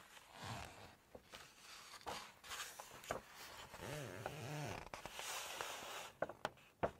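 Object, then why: Glossy paper cookbook page. Long nails curl and turn a single glossy page of an open Chinese cookbook, rubbing and flexing the paper. Soft, bright rustling and crinkling swell and fade, with a brief squeaky, tonal rub partway through. Sharp little nail clicks and taps stand out near the end.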